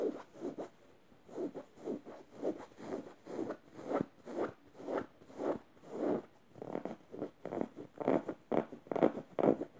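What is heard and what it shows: Red-painted fingernails scratch across the plush yellow fabric and felt eye of a stuffed emoji cushion. The result is a steady series of short, soft, raspy strokes, some harsh and some gentle, each fading almost at once with no ring.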